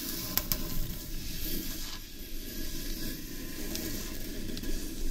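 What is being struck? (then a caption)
Carved wooden bowl. Long nails scratch and fingertips rub across the outer surface of a large, hollow carved wooden bowl turned upside down. A steady, dense, low scraping rustle fills the clip, with a faint high hiss above it. A few sharp, quick clicks stand out near the start.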